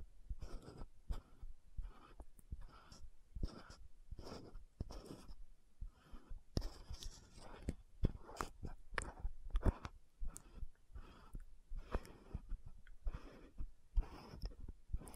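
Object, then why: Frosted plastic lotion bottle with metal screw cap. An orange-red frosted plastic cosmetic bottle (Dr.Ci Labo VC100 lotion), hand-sized, with a metallic gold screw cap, is tapped and scratched by long manicured nails on the cap and bottle. Short, dry clicks and scratchy strokes come in quick, irregular bursts, with little ring after each tap.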